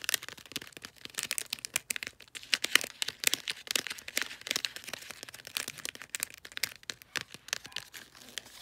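Fingertips and nails scratch and crinkle the folded top of a cylindrical gift wrapped in light blue, bulldog-print glossy paper. The result is a steady run of dense, bright, crackling rustles, mostly high-pitched with almost no low end.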